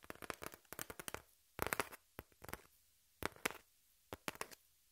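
Long nails scratch the surface of a brown corrugated cardboard piece with a torn edge, held in the hand. Quick, dry, crackly scrapes come in clustered bursts separated by short silences, with a bright, papery texture and no ring after each stroke.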